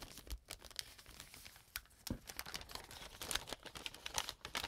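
An empty brown kraft paper bag is opened and expanded by hand. Dense, bright crinkling and rustling with many sharp, quick crackles, some with brief low thumps.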